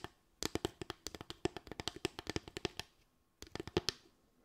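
Long acrylic nails tap quickly on a small slatted bamboo stand with a ridged top. The sharp, dry clicks have a hollow woody knock around 355 Hz and a bright edge. They come in two bursts with a short pause between, and each tap dies away almost at once.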